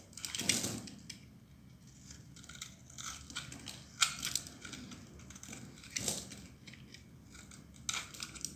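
A solid dry blue bar of soap, held in the hand, is sliced and shaved with a metal utility knife blade. Crisp, bright scraping and crunching cuts come in uneven bursts, with a few louder strokes standing out over a quieter shaving texture. Each cut stops short with almost no ring.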